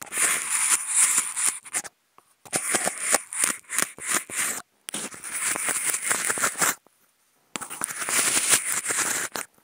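Two toothpicks fitted with contact mics, held in both hands, scratch and poke the ribbed edge of a hollow, empty white polystyrene foam food container. Four bursts of dry, crackly, bright scraping and quick ticking taps come through, separated by short silences, with almost no low end and no ring after each contact.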